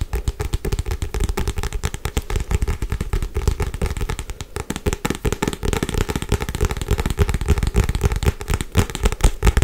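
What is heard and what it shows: A solid Harry Potter paperback book with a paper cover, held upright, is tapped fast on the cover with long white nails. A dense, continuous stream of quick, dry, low thumping taps, with sharp clicks on top, runs throughout with a slight dip in intensity midway.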